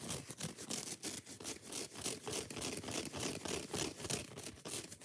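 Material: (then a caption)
Foam. Long fingernails rapidly scratch a handheld yellow foam kitchen sponge, raking across both its rough green scouring pad and the soft foam. The result is a quick, loosely rhythmic run of bright, hissy rasping strokes over a soft low rustle.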